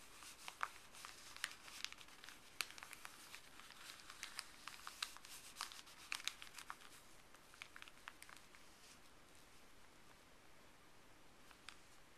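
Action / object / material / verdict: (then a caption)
scrape / folded paper wrapper / paper / none. Fleece-gloved fingertips press and rub a small folded white paper wrapper with blue print lying on a wooden table. The result is a quiet, bright crinkling hiss scattered with sharp, crisp crackles, busiest through the first nine seconds and thinning to a soft rustle at the end.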